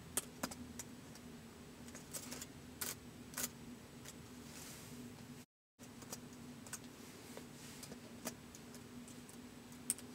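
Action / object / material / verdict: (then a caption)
tap / plastic laptop keyboard / plastic / none. White plastic laptop keys are tapped by fingertips in slow typing, giving soft, short, bright clicks spaced irregularly over a steady low hum. The sound cuts to silence briefly just past the midpoint, then the quiet tapping resumes.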